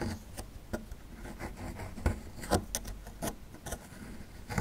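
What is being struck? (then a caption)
Small plaster block scraped with a metal tool. A small metal chisel tool scrapes along the lower edge of a small, solid plaster fossil excavation block. Short, irregular scratchy strokes with bright, gritty bursts sit over a low, dull rumble. Each stroke stops quickly with almost no ring.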